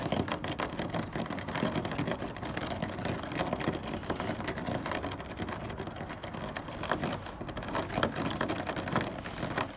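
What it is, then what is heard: Plastic car front grille. Fingertips and nails of both hands tap and scratch quickly across the black honeycomb plastic grille on the front of a car, a rigid hollow panel. The result is a steady, dense stream of rapid clicks and scratchy rasps with a hollow, mid-pitched plastic resonance and short, dry decays.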